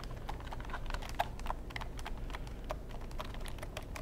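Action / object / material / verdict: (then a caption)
tap / plastic computer keyboard / plastic / none. A long black plastic computer keyboard, tilted toward the microphone, is pressed and tapped with fingertips. The result is a steady stream of quick, dry key clicks over a low, constant rumble, with one sharper tap standing out early on.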